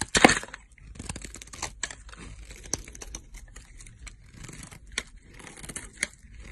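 A box-cutter blade carves a solid green bar of soap held in a long-nailed hand, shaving off thin slices. A loud, bright tearing scrape opens the clip, followed by a run of softer, crisp scraping and crackling cuts with short, dry peaks.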